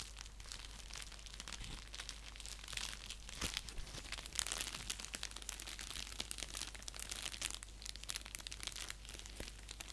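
Fingernails scratch and tap across the surface of an orange padded paper mailer envelope lying flat on a lap. The result is a steady, quiet stream of crisp, bright crinkling and scratching with short clicky taps, over a faint low hum.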